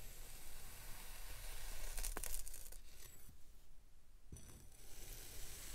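A grey speckled kinetic sand block, molded into a solid rounded shape, is sliced with an iridescent metal knife so its layers crumble off. The sound is a soft, continuous crumbling and tearing over a low background rumble, with a couple of brief, sharp scraping clicks as the blade cuts through.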